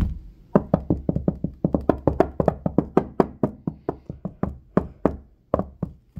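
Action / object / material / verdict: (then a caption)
knock / wooden tabletop / wood / none. Fingertips and medium-length nails of both hands knock and tap directly on a large, solid wooden tabletop with some crumbs on it. About 27 quick, dry knocks sound in an uneven rhythm, each a low woody thump with a brighter click on top. Every knock dies away almost at once.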